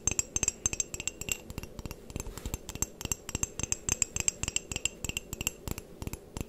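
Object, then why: Ceramic coffee mug. Long painted nails tap and scratch the outer wall and rim of a medium white ceramic coffee mug with a handle and printed text, hollow and apparently empty. The result is a quick, uneven run of sharp, clicky taps with a bright, high glassy chime that dies away almost instantly. Faint scratching fills the gaps between taps.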